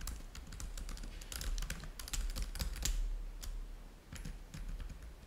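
Fingertips of both hands type rapidly on a black laptop keyboard with plastic chiclet keys resting on a white table. Quick, uneven bright clicks and taps come in bursts over a steady low rumble, with brief pauses between flurries of keystrokes.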